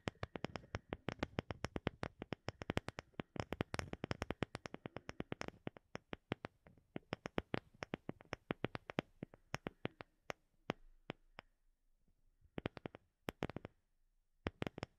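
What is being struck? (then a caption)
Round wooden disc. A round, light-colored, palm-sized wooden disc that looks solid is held behind the microphone and tapped with long fingernails. The taps make quick, dry, sharp clicks with almost no ring. They come in dense rapid bursts for the first half, then thin out into scattered taps with short silent gaps.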